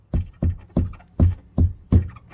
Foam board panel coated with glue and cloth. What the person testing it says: completely different sound isn't it